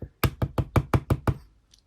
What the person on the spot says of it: Main plate is definitely the plastic